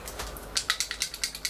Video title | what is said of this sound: Je teste le premier fond de teint de Benefit 💄 Hello Happy 😀 | il y a une petite bille à l'intérieur